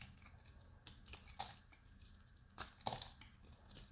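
A solid, dried light blue soap bar held in both hands is shaved with a metal knife blade, and brittle flakes break off. Quiet, crisp crunching and cracking scrapes come in irregular bursts, with a few sharper, brighter snaps standing out over a low background hiss.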